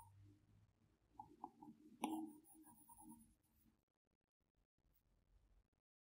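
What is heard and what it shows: A plastic Apple Pencil tip taps and strokes on the large flat glass screen of an iPad Pro while painting. Faint, soft tapping and brushing sounds centre in the low-mids, with one sharper, brighter tap near the middle. The clip then falls to near silence with only faint scratches.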